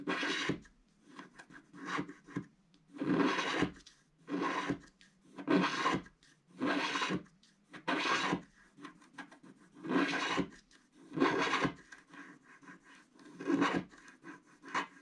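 A wooden stick stylus scrapes across a flat black-coated scratch art card sheet in repeated strokes. Each stroke makes a dry, raspy scratch with a bright, hissy edge. The strokes come in an uneven rhythm, with short quiet gaps between bursts.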